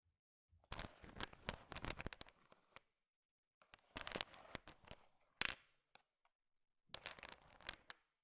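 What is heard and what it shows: A thin wooden stick stirs a large pile of small, solid, sugar-shell-coated chocolate M&Ms, making the candies click against each other. Three bursts of dense, bright, crackling clicks are separated by short pauses. The rattling is quiet, with many sharp, overlapping taps.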